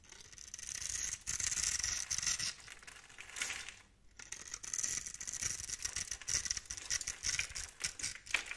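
A blade tool scores a grid into the surface of a solid, hand-sized bar of pale pink soap held in the palm, then scrapes off small soap cubes. The sound is a dense run of dry, crisp scratching and scraping, mostly bright and high-pitched with little low end, with a brief quiet lull near the middle.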